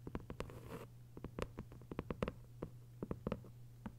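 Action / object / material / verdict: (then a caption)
tap / hardcover book with paper dust jacket / paper / none. Long white nails tap and scratch a thick hardcover novel with a paper dust jacket lying flat. A quick, irregular run of light, dry clicks with a brief papery scratch near the start, over a steady low hum. Each tap dies away almost at once.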